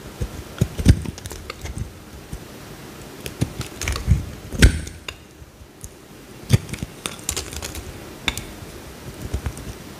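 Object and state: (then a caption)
Soap bar being carved. A small solid cream bar of soap, held in the hand, is carved with a utility knife blade as slices peel off. It produces irregular crisp clicks and short scraping cuts with soft low thuds beneath, against a quiet background.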